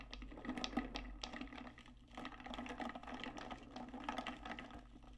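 Long nails tap and scratch the outer wall of a large, hollow, metallic pink stainless steel tumbler with a lid. The result is a rapid, uneven run of soft clicky taps with bright scratchy edges over a faint, steady low hum. The taps die away quickly, with a slight ringing tone in the low-mid range.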